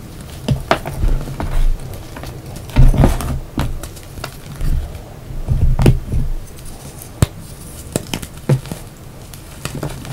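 Hands break apart a solid, palm-sized yellow block of reformed gym chalk, then fingertips crush and rub the crumbly dry pieces into the chalk pile. Sharp dry snaps and crunches stand out over a low, dull rustle of crumbling and rubbing.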